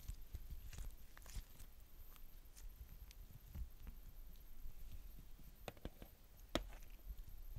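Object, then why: Glitter slime. A palm-sized lump of soft, stretchy purple glitter slime on a polka-dot tabletop is stretched into a sheet by two hands with long dark-painted nails, then folded and squished. Quiet, sticky popping and crackling clicks come in short, sharp bursts over a low, muffled rumble.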